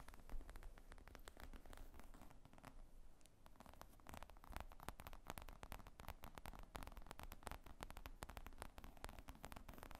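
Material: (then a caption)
Faux leather. Long painted nails tap and scratch the top of a black faux-leather laptop bag with zippers, lying flat on a wooden table, hollow and apparently empty. It makes a quiet, steady stream of quick, dry taps and crackly scratching, mostly low and dull with short, muffled decays.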